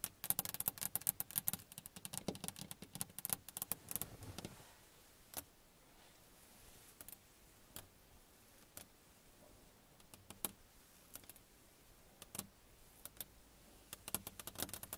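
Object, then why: Car side window glass. Long fingernails on both hands tap a car's side window, a flat sheet of glass, making sharp, bright clicks. The tapping starts as a rapid flurry, thins to scattered single taps with quiet gaps, then picks up again into quick bursts at the end.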